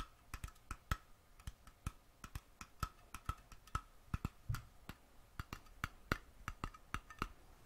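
Fingernails tap the metal screw lid of a small glass mason jar held sideways in hand, making 29 quick, sharp clicks in an irregular rhythm. Each tap is brief and dry with a faint metallic ring, heard against a quiet background.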